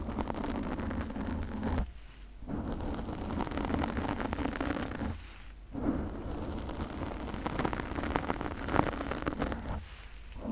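Long nails scratch a pink foam windscreen on a condenser microphone with both hands, making a dense, crackling, rumbling rustle. The scratching drops away in brief pauses, around 2, 5.5 and 10 seconds.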